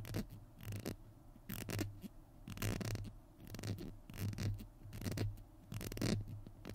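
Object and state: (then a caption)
Plastic glue stick. Fingernails scratch and tap the label of a small hollow plastic glue stick held in both hands. The result is irregular bursts of dry, bright scratching over a soft low rumble, with quick, short taps that barely ring.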